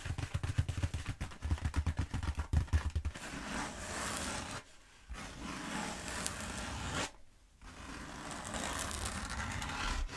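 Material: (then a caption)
Bead foam. Long acrylic nails work over a long black bead foam roller held upright, first with a quick run of crisp ticking taps for about three seconds. Then come long, steady scratches down its surface, broken by two brief silent pauses. The sound is dry and rustling with a strong low thump underneath.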